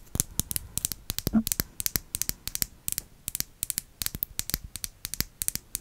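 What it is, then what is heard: Small glass jar. A small, round, greenish-tinted glass jar or bottle, contents not visible, is held close to the microphone and tapped with long acrylic nails. About 37 quick, crisp, bright clicks fall in an uneven rhythm, each dying away almost instantly. A brief low tonal sound rises once near the middle.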